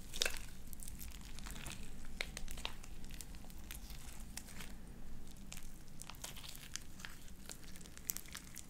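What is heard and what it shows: A handful of sticky light-blue slime with beads is folded and squeezed in the hands, worked with the fingertips and long nails. Wet squelches run over a steady low rumble, and sharp bright pops and crackles break through again and again.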